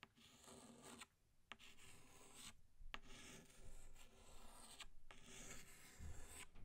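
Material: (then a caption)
Chalk. A pink chalk stick draws a small flower on a flat black chalkboard. It makes dry, scratchy rasping strokes broken by short pauses between them.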